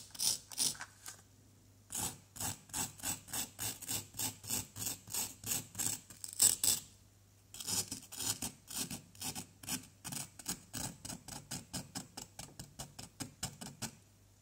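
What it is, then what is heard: Plaster block being scraped. A pointed wooden stick scratches and chips at a small, solid orange plaster excavation block. Dozens of quick, bright, raspy scraping strokes come in steady rhythmic bursts, with two short pauses, over a faint low hum. Each stroke dies away almost instantly.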